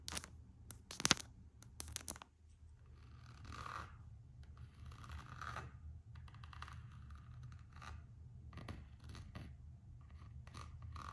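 Long acrylic nails tap and scratch the printed coated-canvas strap of an empty Gucci slide sandal with a rubber sole. A few sharp, bright clicks come first, then a steady run of soft, raspy scratching strokes that rise and fade over a low background hum.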